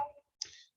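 A paper file on a table is tapped once to show that it vibrates, moving and then returning to its original position. The tap is heard as a single sharp, bright click with most of its energy high up, fading within about a third of a second.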